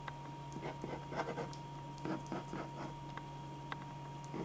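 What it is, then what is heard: Pen scratching on drawing paper. A black metal-tipped pen scratches sketch lines across a single thin white sheet of drawing paper lying flat on a dark board, while the other hand holds the sheet in place. Quiet, dry scratching strokes come in short bursts over a steady low hum and a faint constant tone.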